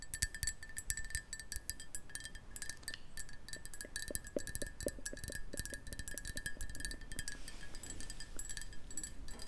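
A black ceramic Marauder's Map mug, hollow, is held in both hands close to the mic and tapped with long painted nails. The result is a rapid run of short, dry clicks and clinks with a bright ringing tone around 1.7 kHz over a soft low rumble. A series of lower, duller taps falls in the middle.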